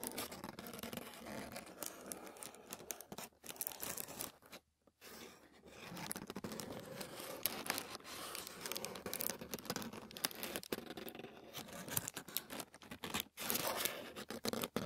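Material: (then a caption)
Paper. Fingertips and short nails scratch a thin sheet of white tissue paper lying flat on a wooden table. The result is dense, bright crinkling and scratching with soft tearing-like rasps and almost no low end. It runs continuously except for a brief silent gap just before the five-second mark.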